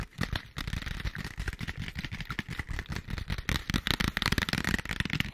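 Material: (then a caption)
Cardboard. A small, hollow, printed cardboard product box is held in front of the mic with both hands while long white acrylic nails tap and scratch across its flat printed faces. The result is a steady stream of quick, dry taps with a deep hollow thump underneath, mixed with bright, crackly scratching that grows denser and louder toward the end.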